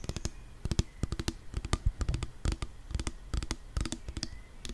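Long nails tap the pump top and body of a pink 175 ml plastic nail polish remover pump bottle filled with liquid. The result is a quick, uneven run of short, dry taps and clicks, each with a dull, low knock and a bright click on top that dies away almost at once.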